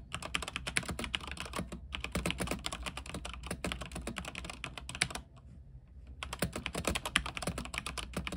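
Fingertips type rapidly on a mechanical keyboard with white plastic keycaps on a silver, backlit frame. Bright, sharp plastic clacks come in quick flurries over a steady low hum, with a brief pause near two seconds and a longer one about a second long just after the five-second mark before the typing resumes.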